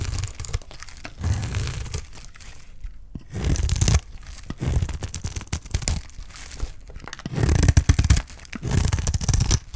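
A utility knife blade repeatedly scrapes and shaves strips off the surface of a solid bar of dry green soap held in the hand. Each stroke gives a dry, crunchy tearing and crinkling scrape in short bursts, with a heavy low rumble under a bright crackle and quiet pauses between strokes.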